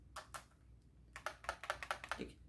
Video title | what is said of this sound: Who is excited for Power Rangers Dino Fury?! New lightning collection dragon dagger | you shake it, you can hear the batteries in here